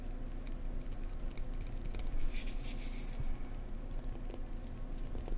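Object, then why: Cork block. A cork block is tapped gently up close with fingers, giving a steady patter of soft, dull, low thuds that die away almost instantly. Faint scratchy ticks come through between the taps, with a brief brighter rustle partway through.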